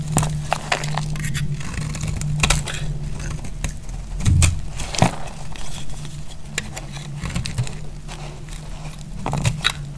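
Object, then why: Striped soap bar cut with a metal blade. A metal blade cuts into a solid, dry red striped soap bar held in the hand, producing repeated crackling and scraping strokes as flakes break off. Sharp clicks stand out over a steady low hum.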